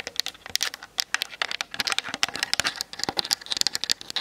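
Long nails tap quickly on the top and sides of a Canon DSLR's hollow plastic body. The result is a rapid, uneven stream of sharp, bright, dry clicks with almost no ring and no low end.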